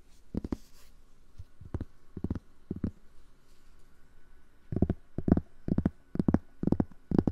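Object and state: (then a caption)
Cork board. Fingers tap and scratch a cork board for ASMR, giving soft, dull, muffled thuds with no ring. The taps come in uneven clusters, sparse at first and then louder and denser over the last few seconds, with faint scratching between them.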